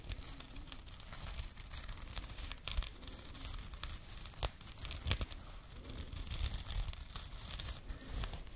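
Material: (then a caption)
Burlap. A small labeled burlap jute pouch is held against the microphone and scratched with long nails. The result is a steady, dry scratching and crinkling texture with a heavy low rumble underneath, bright rasping edges, and occasional sharper, louder scrapes.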